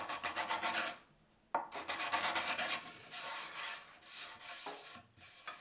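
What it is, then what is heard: Beech wood being scraped. A solid beechwood shoehorn blank, clamped in a bench vise, is scraped by hand with a small hand-held steel tool in repeated strokes along the wood surface. Quick, bright, raspy strokes come in rhythmic bursts, stop briefly near the one-second mark, then resume and continue steadily to the end.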